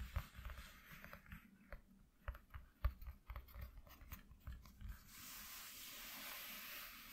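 Fingertips and nails tap and scratch rapidly on a flat white corrugated cardboard sheet lying on a dark cloth. For about five seconds, quick, uneven, dull thuds mix with short, crisp clicks. Then the sound turns into a steady, bright, hissing scratch that lasts to the end.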